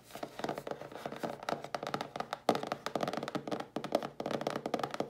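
Long blue nails tap and scratch the sides and bottom edge of a hollow cardboard mailer box held in the hands. A fast, steady run of dry, hollow clicks sits in the midrange near 730 Hz, with a light scratchy hiss between the taps and almost no ring after each one.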